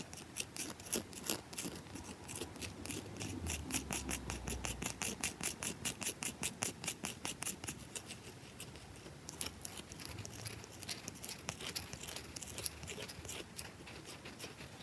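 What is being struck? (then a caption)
Bar of soap scratched and tapped with fingernails. Long nails scratch and tap fast and aggressively across the surface of a round, solid bar of soap held in both hands. A rapid, uneven stream of short, dry clicks and scratchy rasps dominates, bright and crisp with almost no ring. Faint low rumbles sit underneath throughout.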